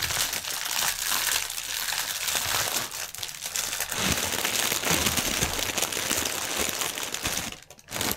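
Hands press and crumple a clear, printed plastic air-cushion packaging strip with fingertips and nails, squeezing the thin film. The result is a dense, continuous, bright crinkling and crackling that stays steady for about eight seconds, with a brief drop in level near the end before the crinkling resumes.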